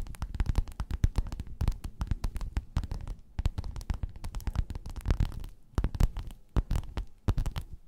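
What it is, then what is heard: Faux-leather pillowcase scratched with nails. A folded gold metallic croc-embossed faux-leather pillowcase lying flat is scratched with the long nails of both hands. The result is a dense run of quick, dry scratches with soft, low, thumpy weight beneath crisp, bright streaks. The scratching briefly eases in a couple of spots before picking back up.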